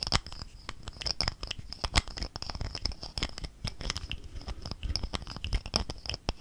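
A gold-colored plastic cosmetic squeeze tube, held horizontally in both hands, is scratched and tapped with fingernails along its body. The result is a rapid, uneven stream of dry clicks and crinkly scratching with a bright edge, each tap stopping almost instantly with no ring.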